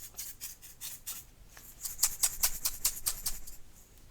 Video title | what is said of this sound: ASMR Oceanic Reiki - Seashell Rumaging | you can hear that it can be used as a little rattle